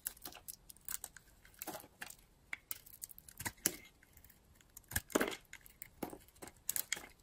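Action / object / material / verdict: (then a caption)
scrape / bar of soap cut with a knife blade / soap / none. A utility-knife blade scrapes and cuts flakes off a solid purple and blue bar of dry soap held in the hand. Quiet, crisp, bright scraping and crackling strokes come in quick, irregular bursts, each stopping dead with almost no ring.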